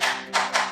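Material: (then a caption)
Ceramic. Three taps on a ceramic floor tile give a hollow, echoing knock because of a void between the tile and the screed. The top of the tile is already starting to crack, a tell-tale sign that it may pop.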